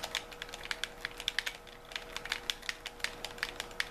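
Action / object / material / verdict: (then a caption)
tap / handheld plastic gamepad / plastic / none. Thumbs tap the buttons and fingers work the triggers of a white handheld plastic gamepad with a hollow shell, giving a quick, irregular run of sharp, bright plastic clicks. Each click is very short and dry. A faint steady tone hums underneath.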